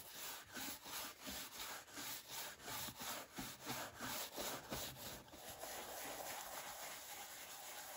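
A large wooden horsehair brush is swept back and forth over the dark leather upper of a brogue derby shoe with a shoe tree inside, while the other hand holds the shoe. Bright, breathy bristle strokes repeat in a quick, steady rhythm for about five seconds, then blur into a continuous softer rubbing.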